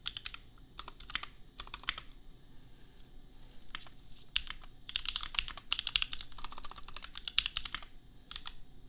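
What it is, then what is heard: Plastic mechanical keyboard. Fingertips of both hands type on a $250 custom compact mechanical keyboard with Gateron Milky Yellow switches and red and pink plastic keycaps. Quick bursts of bright, crisp plastic clacks come in runs separated by short pauses. Each keystroke stops almost instantly, with a faint low rumble underneath.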